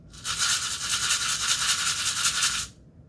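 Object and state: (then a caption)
Container of dried lentils, shaken. A container of dried lentils is shaken for about two and a half seconds. It gives off a continuous, bright, hissing rattle with energy concentrated high above 1 kHz, much like a maraca, and then stops abruptly.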